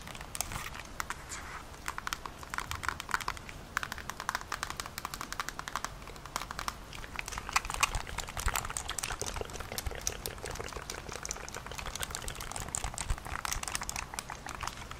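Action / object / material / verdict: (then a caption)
tap / plastic handheld game console / plastic / none. Long nails rapidly tap and scratch the plastic back panel of a handheld-size Nintendo Switch console with red and blue controllers, held in both hands. The result is a quiet, steady stream of dry, bright clicks and scratchy rustles with no ring after each tap.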